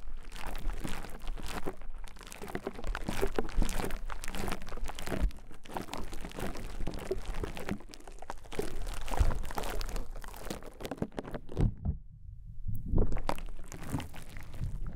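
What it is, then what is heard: Konjac sponge scraped. A rose-gold metal pick presses and scrapes a small, porous white konjac sponge resting on a microphone capsule. It makes dense, close crunching and crinkling with a deep, muffled low-end thump. A brief near-silent gap in the upper range falls around the twelve-second mark.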